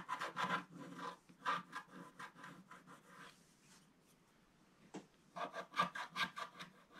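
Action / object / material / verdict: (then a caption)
scrape / coated scratch-art paper scraped with a wooden stylus / coated paper / none. A wooden stylus scratches lines into a flat scratch-art paper page, black coating over gold foil, while fingers steady the page. Short, dry rasping strokes come in uneven bursts, bright and papery with a midrange edge, then pause into near-silence before several quick scratches resume.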